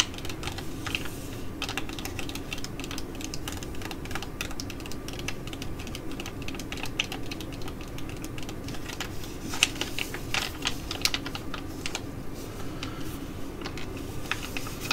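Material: Foil laminate.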